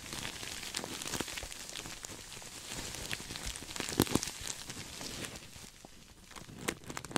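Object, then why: Sequin-covered fabric pillow. A soft, stuffed cream sequin throw pillow is hugged close to the mic and scratched with fingertips and nails. It makes a dense, bright crinkling and rustling texture full of sharp little clicks, with a few louder snaps near the middle. Toward the end the rustle eases to a quieter scratch.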